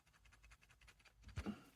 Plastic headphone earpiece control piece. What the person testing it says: This piece is just entirely loose. Really annoying.